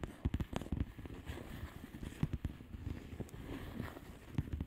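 Long nails tap and scratch across the bubbles of a flat plastic bubble wrap mailer. The result is a quick, irregular series of short, dull, low thumps over a soft, scratchy crinkle, with very little bright content.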